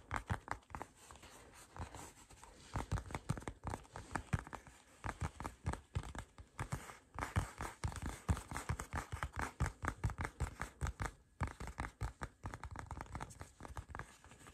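A palm-sized black Michael Kors wallet, likely leather, is held in both hands close up and scratched and tapped with fingertips and short nails. Quick, dry scratching and tapping sounds come in rapid bursts with short pauses, each contact crisp and short with no ring.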